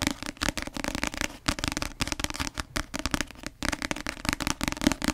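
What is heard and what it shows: Long nails tap fast on the glossy cover of a paperback novel, making a dense stream of crisp, dry clicks. Each tap dies away almost instantly, with a bright papery rattle and a faint hollow body.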